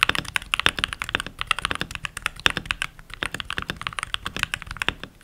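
Fingertips with short nails and rings on the fingers type continuously on a full-size backlit mechanical keyboard with pink plastic keycaps. About 38 quick, bright plastic clacks land in rapid succession, each very short with almost no ring, and carry little low end.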